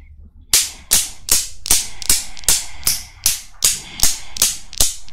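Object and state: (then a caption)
Steel Newton's cradle. Long black nails set a small chrome steel Newton's cradle with five solid steel balls in motion, and the balls knock together. Twelve sharp, bright metallic clicks repeat at a steady pace of about two and a half per second, each dying away quickly.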